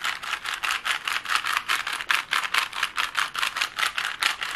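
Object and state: Plastic puzzle cube.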